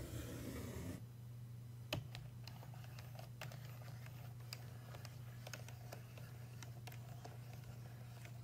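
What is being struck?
Stainless steel payphone keypad and faceplate.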